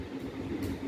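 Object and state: Nothing is struck.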